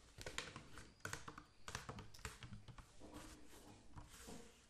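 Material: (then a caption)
Plastic. A clear PET plastic water bottle, about 1 L with a blue cap and partly filled with water, is held upright and tapped with the fingertips. The result is a run of quick, dull plastic taps with bright clicky edges and very short ring, plus softer rustling and faint shifts of water between the stronger hits.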